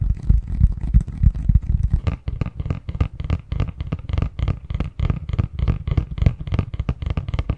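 Fingertips tap and scratch the surface of a medium-sized, hollow, printed cardboard Christmas box lid held in both hands. Quick, irregular, dull taps with a low hollow thump mix with dry scratching. The sound stays soft and steady with very little ring.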